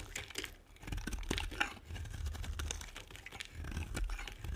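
A metal blade carves and scrapes crisp flakes off a solid, dry pink and white bar of soap. The sound is a steady run of dry, crackling scrapes and brittle crunches, with bright snaps scattered over a low, soft rumble.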